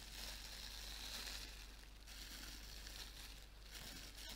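A large sheet of clear plastic bubble wrap, held up in front of the face, is crumpled and rubbed with the fingers. It makes a steady, quiet, bright crinkling and crackling over a constant low hum.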